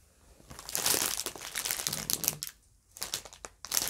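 A pink printed plastic Hershey's hearts bag full of foil-wrapped chocolates is held in both hands and crinkled as long nails press into it. Bright, dense crackling comes in bursts, with a brief near-silent pause before a final flurry of crinkles.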